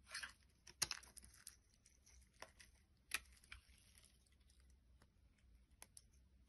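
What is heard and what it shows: A short black-bladed knife scrapes and shaves a hand-sized bar of solid orange soap, leaving flakes on a wooden board. Quiet, bright, crisp shaving and scratching sounds come in an irregular series, with a few sharper cuts standing out against soft crumbly rasping.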